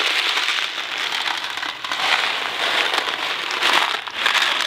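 A hand-sized, hollow Kraft macaroni & cheese box of thin cardboard, filled with dry pasta, is held in the fingers and shaken so the macaroni rattles inside. The result is a dense, bright, crackly rattle with no low end, swelling and easing in waves as the shaking continues.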